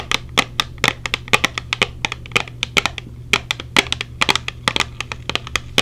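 A small, hollow clear plastic case with silicone earplugs inside is held in the hand and tapped rapidly with long painted nails. About 37 quick, dry, bright clicks follow one another in an uneven rhythm with almost no ring. A faint low steady hum sits underneath.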